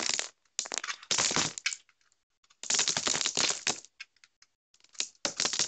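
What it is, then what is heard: Dry bar soap being scraped. A metal utility knife blade shaves and scrapes a dry, crumbly, hand-sized solid orange bar of soap with a honeycomb-pattern face, sending crumbs falling off. Bright, crisp, crackling scrapes come in bursts separated by short silences, with almost no low end.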